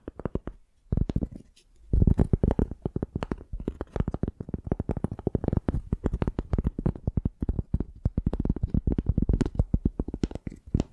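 Long dark painted nails scratch and tap the ridged, fibrous tan side of a flat rectangular piece of tree bark held in both hands close to a microphone. The result is a dense run of quick, dry, low-heavy taps and scratches with very short decay, briefly pausing near the start before continuing steadily to the end.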